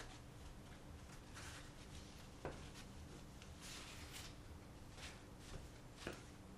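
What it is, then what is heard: Glass pane in a wooden picture frame being wiped. A hand wipes a thin, solid flat glass pane, about 30 cm square, with a folded paper towel or tissue; the pane sits in an empty light wooden shadow-box frame lying on red carpet. A quiet, steady papery rubbing and swishing continues throughout, broken by two brief, sharper ticks.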